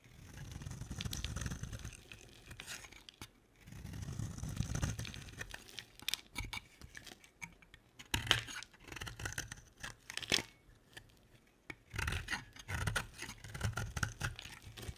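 An oval, solid pink bar of soap is held in the hand and shaved and scraped with a utility knife blade. Bursts of dry, rasping scraping with a low rumble alternate with sharp, bright crackles and clicks as the blade cuts and flakes the soap, with brief quiet pauses between strokes.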